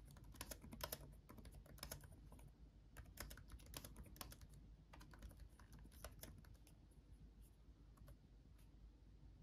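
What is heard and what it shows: Both hands type continuously and fast with their fingertips on a backlit laptop keyboard with plastic chiclet keys set in a dark laptop body. Quick, bright, dry clicks with almost no ring patter in uneven bursts over a steady low rumble, at a soft overall level.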